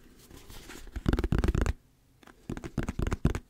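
A hollow yellow plastic squeeze bottle with a paper label and a white cap is held in the hands and tapped with the fingertips and nails. The taps are dull, low, and short, coming in quick uneven bursts: a dense run in the first half, a brief quiet pause, then another cluster.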